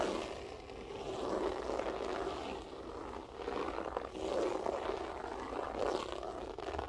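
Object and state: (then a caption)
Loop-pile carpet scratched with nails. Long acrylic nails lightly scratch a flat beige loop-pile carpet with a textured loop pile. The result is a soft, continuous scratchy rustle centered in the midrange, swelling and easing in gentle waves as the nails move across the loops.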